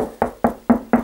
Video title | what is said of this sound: How to use Magnets and 'Knocking' to Locate Wall Studs and Ceiling Joists | you can hear it's much more hollow than